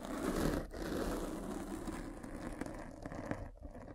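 A hand with long red nails rolls a derma roller with metal spikes over the top of a black foam windscreen covering a microphone. The result is a steady, dense, scratchy crinkling rustle, weighted toward low and mid tones, with brief dips in loudness partway through.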